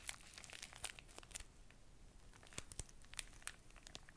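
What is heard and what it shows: A full, small, soft pocket tissue pack in a thin plastic wrapper is held close to the mic and crinkled and scratched with long nails. Quiet, bright crinkling and sharp scratchy clicks come in uneven bursts over a soft low rustle. The snaps die away almost instantly.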